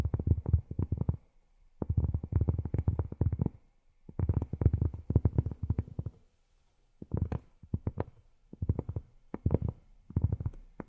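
Long fingernails tap rapidly on cork in several quick bursts separated by short pauses. Each tap is a soft, dull, low thud with almost no ring, and nothing bright above it.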